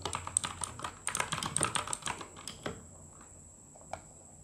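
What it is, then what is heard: Plastic mechanical keyboard being typed on. Fingertips of both hands type continuously on the plastic keycaps of a full-size RGB mechanical gaming keyboard, producing quick, irregular, sharp clacking keystrokes. The typing runs for under three seconds, then stops, leaving a faint steady high whine with one last isolated key tap near the end.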